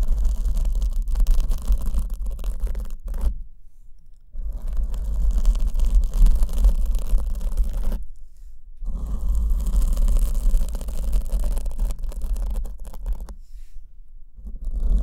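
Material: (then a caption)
Foam. Long nails scratch and brush a soft, hand-sized black foam windscreen on the left microphone. The result is a dense, scratchy rustle over a heavy low rumble, broken by three short near-silent pauses before the scratching resumes.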